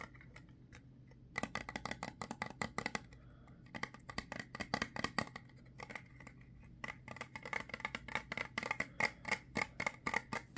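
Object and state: Plastic ointment tube.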